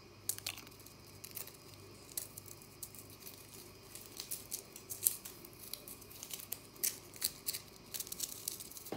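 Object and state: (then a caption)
Compressed powder bath bomb being scratched and crumbled. Long natural nails scratch, flick, and crumble a partly broken pink-white compressed powder bath bomb in the bath. Quiet, bright, dry scratching and gritty crackles are broken by sharp, clicky taps that die away instantly. The flicks grow more frequent toward the end.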